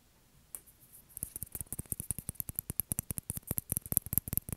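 A small, hollow white celluloid or plastic ping pong ball is held in the fingers and tapped and scratched with fingertips and nails. After a single click and a near-silent first second, about 30 quick, dry taps follow in an uneven, quickening rhythm. Each tap has a soft low thump topped by a bright, crisp tick that dies out almost at once.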